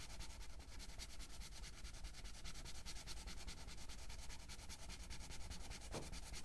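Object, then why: Felt-tip marker on a paper coloring book page. A blue felt-tip marker makes rapid, repeated coloring strokes across the page of an open paper coloring book lying flat. The result is a steady, scratchy rubbing with a quick back-and-forth rhythm, a bright papery hiss over a low, dull undertone, and a brief louder swipe near the end.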